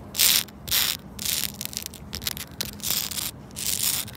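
Long pointed red nails scratch and rub the rough texture of flat, solid granular rubber playground safety flooring, first on a red tile and then on a green tile with the same surface. The sound is a series of bright, hissy scraping strokes at an uneven pace, with very little low end. Short, sharp ticks sit between the longer rasps.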